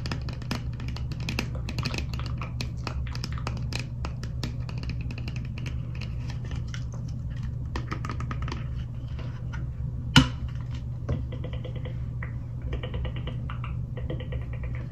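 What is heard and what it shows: A small clear plastic toy cosmetic bottle with a pink cap and liquid inside is held in both hands and tapped with long acrylic nails. Quick, light, dry clicking taps patter over a steady low hum, with one sharper, louder click near the ten-second mark. The bottle's cap is then opened.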